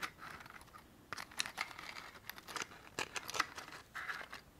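A small white cardboard matchbox is held in one hand while long painted fingernails tap and scratch its surface. The result is a string of quick, dry taps and scrapes with bright, papery crinkle and little low end.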